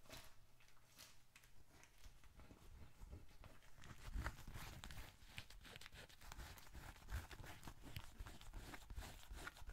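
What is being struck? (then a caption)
Leather bifold wallet with papers inside. A small, closed, dark red leather bifold wallet, hollow with bills and receipts inside, is held in both hands, tapped with fingertips and squeezed. It gives a quiet, irregular stream of soft crinkling and rustling over dull, low thumps, with brief, brighter taps scattered throughout.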